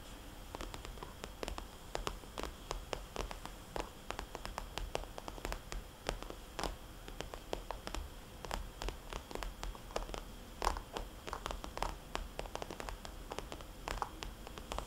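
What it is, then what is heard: Glossy plastic cosmetics bag. A small red glossy plastic cosmetics bag with white polka dots, lying flat, is tapped and scratched with long painted fingernails and fingertips, including tracing the circles. Rapid, crisp clicking taps and short scratchy strokes come steadily throughout, each dying away almost instantly over a constant soft low hiss.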